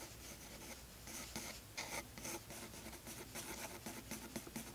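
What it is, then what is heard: Pencil sketching on toned paper. The tip of a blue graphite pencil, held in the fingers, makes light sketching strokes across a page of tan toned paper in a spiral-bound sketchbook lying flat on a wooden desk. A soft, steady scratching hiss rises into brighter, louder rasps with each stroke, and a faint low hum sits underneath throughout.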